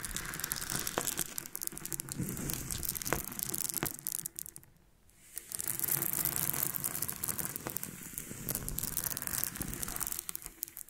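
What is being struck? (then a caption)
Small loose freshwater pearls. Hands with long painted nails rub, scratch and roll a cluster of small, solid nacre freshwater pearls against each other on a pink surface. The result is a dense, bright stream of tiny clicks, grinding scratches and rattles. It goes briefly quiet near the middle, then resumes just as busily.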